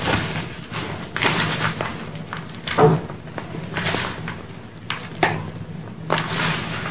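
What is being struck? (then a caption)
Block gym chalk crumbled by hand in a bowl. Bare hands dig into a large pile of pink gym chalk, powder and crumbled blocks, in a dark round bowl, squeezing and rubbing the soft dry chunks into powder. Soft dull thuds and crumbly, hissing bursts of texture come in uneven waves over a low background hum.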